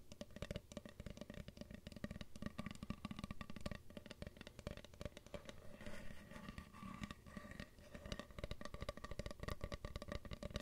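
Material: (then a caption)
Wood. A solid, flat, black-painted wooden Diagon Alley sign with gold lettering, held at chest height, is tapped and knocked with long acrylic nails. Rapid, dense, continuous taps produce short, dull, low wooden thuds that die away almost instantly, with faint clicky nail edges on top.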